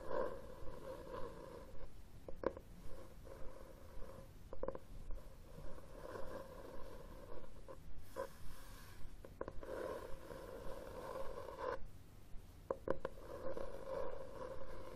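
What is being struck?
Cloth-covered hardcover book.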